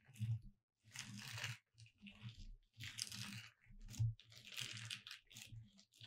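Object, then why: Glitter-coated foam or plastic cutout sign. Long red acrylic nails on both hands trace over the letters of a flat gold glitter "Merry Christmas" hanging sign with red and green holly accents, about 40 cm wide, thin foam or plastic cutout lying on a dark cloth. Dry crunchy scratches with a bright, gritty hiss alternate with soft, low taps, coming in uneven bursts separated by short pauses.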